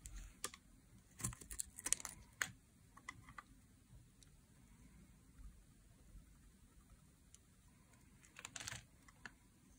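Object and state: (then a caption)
Dry soap bar being carved. A metal utility blade carves curls off the edge of a dry, solid teal soap bar held in the hand. Quiet, bright, crisp scraping clicks come in short bursts that stop dead, clustered early and again near the end. A low, steady background murmur fills the pauses between them.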